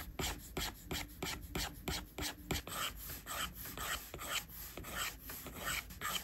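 A plastic stylus tip is rubbed in long, sweeping strokes across a flat, solid iPad glass screen, which probably has a matte surface, while inking hair. It makes a quick, uneven series of dry, bright rasping scratches with a soft low body.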